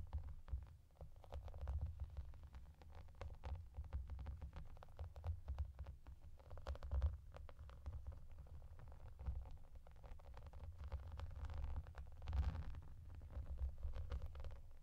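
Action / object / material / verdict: tap / plastic bubble bath mat / plastic / none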